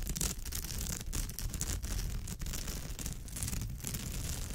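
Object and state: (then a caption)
Woven straw bag. Long pale almond-shaped nails scratch across the weave of a woven straw or raffia bag, with both hands resting on it and scratching. The result is a steady, dense, crackly scratching with a heavy low rumble underneath and a bright, hissy texture on top, continuing without clear breaks.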